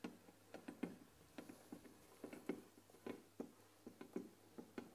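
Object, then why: Wooden tea box with glass lid. Long nails tap and scratch the glass lid of a closed, white-painted wooden tea box filled with tea bags. Quiet, irregular clicky taps with a dull low-mid body die away almost instantly. Faint scratching fills the gaps between them.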